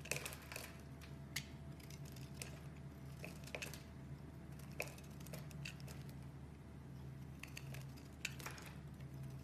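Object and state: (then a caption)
Bar soap being shaved. A metal box-cutter blade scrapes thin curled shavings off a pink and white striped solid bar of soap held in one hand. Quiet, crisp scraping ticks and short bright crackles repeat irregularly over a low, steady hum.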